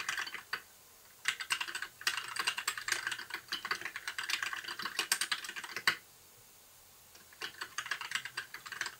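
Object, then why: Plastic mechanical keyboard. Fingertips of both hands type continuously on a compact white mechanical keyboard with plastic keycaps, blue backlight and a hollow case. Rapid, bright, dry clacking comes in three bursts separated by brief pauses, each keystroke stopping almost instantly.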